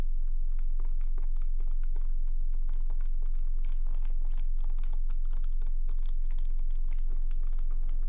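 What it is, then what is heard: Plastic cosmetic bottle. Long acrylic nails tap quickly on a clear, labeled plastic skincare bottle, hollow and partly filled, held in one hand over a face. The taps come in a fast, steady, typing-like rhythm of light, bright clicks over a constant low hum.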